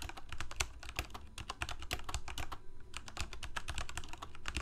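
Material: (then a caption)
Plastic. Fingertips of both hands type rapidly on a full-size black plastic Corsair mechanical keyboard with lit keycaps. A dense stream of sharp, bright clicks rides over a low thocking undertone, each press dying away almost instantly.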